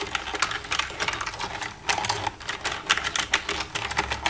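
Long red-painted nails tap and type across the keys of a black plastic desktop computer keyboard with a hollow casing, using both hands. A rapid, uneven run of sharp, bright plastic clicks comes with little low-end body, each tap dying away almost at once.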